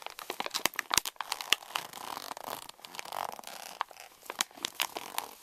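Both hands crumple and crinkle the top of a pink Reese's candy pouch made of plastic foil laminate. The result is a dense run of bright, dry crackles and sharp snapping clicks, with almost no low end and no ring after each crinkle.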